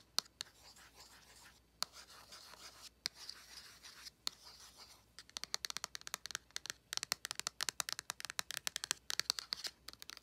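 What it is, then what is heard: Cardboard palette, tapped and scratched. Long nails tap and scratch the printed back of a small, flat cardboard eyeshadow palette held in a hand. The first half is mostly bright, hissy scratching broken by a few sharp taps; after about five seconds it turns into quick, dense runs of crisp, dry clicks with almost no low end or ring.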